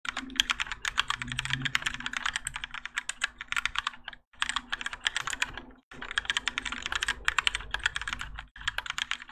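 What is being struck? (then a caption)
Mechanical keyboard with ABS plastic keycaps. Both hands type continuously with their fingertips on a Keychron K4 compact mechanical keyboard with Gateron Yellow switches, grey and orange ABS plastic keycaps, and a plastic and metal case, resting on a desk mat. The result is a dense stream of short, bright clacky keystrokes with brief pauses near 4 and 6 seconds.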